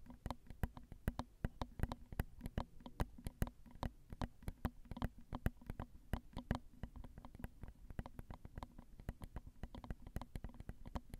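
Long pointed acrylic nails tap the crossed metal mesh capsule grilles of a small Zoom handheld recorder's X/Y microphone head, which sits on a hollow plastic and metal body. The taps are quick, close-up, dry clicks and thumps in an uneven stream, heavy in low-end boom with almost no high sparkle. Each one dies away instantly with no ring.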